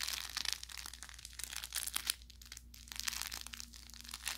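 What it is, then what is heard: Plush carrot toy with crinkle filling. An orange velour plush carrot cat toy with crinkle filling is squeezed and crushed in the hands. The result is a continuous run of bright, dry crinkling and crackling with sharp little pops and no ringing. A faint steady low hum sits underneath.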